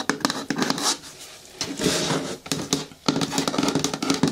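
Long nails tap and patter quickly on the sides and front of a hollow, hard green plastic bin with a lid, giving sharp clicks over a hollow, mid-low ring. A quieter, hissy stretch of scratching on the plastic sits between bursts of tapping.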